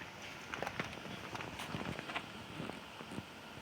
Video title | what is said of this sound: PART 1 ISSUES WITH CHERRY BOMB VORTEX MUFFLER | tap on the bottom of the muffler and it rattles whatever's loose in there